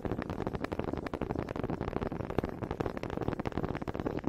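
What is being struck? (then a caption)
Wooden honey dippers knocked together. Two small solid wooden honey dippers with grooved heads, held in both hands with long red nails, are knocked together close to the mic. This makes a quick, uneven stream of dry, hollow wooden clicks and taps that stop sharply with almost no ring.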